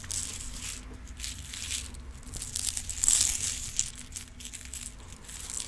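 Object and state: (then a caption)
Plastic organizer box of rhinestones. A clear plastic multi-compartment organizer box full of rhinestones is tilted and shaken so the stones rattle, and tapped with acrylic nails. The result is a dense, irregular, bright clicking and crinkling rattle over a faint low hum, swelling to its loudest burst around the middle before settling back down.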